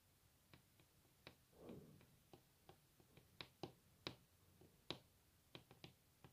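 Long natural fingernails of both hands tap and scratch a large solid wooden table top, possibly veneered. Quiet, sharp, dry clicks sound at an irregular pace with almost no ring, and a brief soft scratching swell comes early on.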